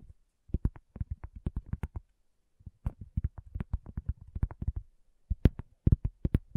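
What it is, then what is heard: Cork coaster. A round, flat, solid cork coaster is tapped by long natural fingernails and fingertips close to the recorder. About thirty quick, dull, low taps come in three irregular bursts separated by brief pauses. Each tap stops dead with no ring, and a few land sharper and brighter.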